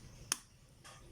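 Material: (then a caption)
Eggshell. A fresh chicken egg, the last of three, is tapped once to check it. The tap gives a single short, bright click that dies almost instantly and sounds firm. A fainter, hissy patch follows near the end of the clip.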